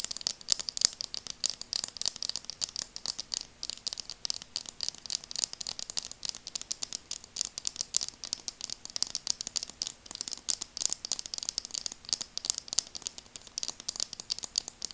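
Long nails tap rapidly along the frame of burgundy plastic glasses held horizontally, producing dense, sharp, bright clicks with almost no low end and no ringing. The taps come in a continuous quick patter over the whole clip, with occasional louder accents.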